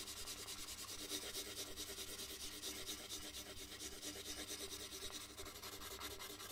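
A red colored pencil shades a large white paper sheet resting on a wooden desk with repeated rubbing strokes. A steady, quiet, bright scratchy rasp pulses with each back-and-forth stroke, with a faint low hum underneath, continuing throughout.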